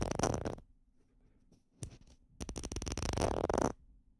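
Small hollow red plastic bottle caps, one held in each hand, are scratched and tapped with fingernails and fingertips close to the microphones. A dense burst of crackly scratching is followed by a near-silent pause with a few faint clicks. A longer stretch of rapid tapping and scratching then stops abruptly.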